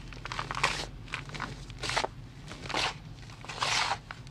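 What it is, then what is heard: Gym chalk block being crumbled. A bare hand presses, rubs and crumbles a large, solid, powdery gray gym chalk block with the fingers and palm, and loose powder falls off. Dry, bright crunching and crackling comes in bursts, with the louder crumbles near the start, around two seconds, near three seconds and toward the end, over a quiet low hum.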